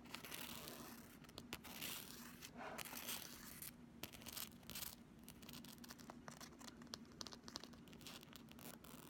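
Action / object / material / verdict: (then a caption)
scrape / thin flexible plastic ruler / plastic / none. Long nails and fingertips scratch and rub along the printed surface of a pink Flexi Ruler, a thin, solid, flexible plastic strip about 30 cm long. The result is a quiet, continuous bright scratching and crinkly rasp, broken by many quick, dry clicks and short scraping strokes over a faint, steady low hum.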